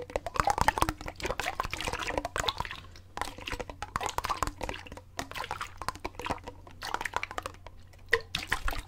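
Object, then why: Plastic water bottle with water. A clear plastic water bottle with a gray cap, partly filled with water, is held horizontally with both hands close to the microphone and sloshed from side to side. Repeated splashing, gurgling surges of water come in uneven waves, with a steady low hum underneath.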